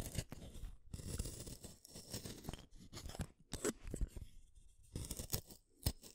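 A solid purple wooden colored pencil is shaved with a small metal blade. Repeated dry scraping and shaving strokes sound in uneven bursts, each crisp rasp over a soft low body and ending in short pauses.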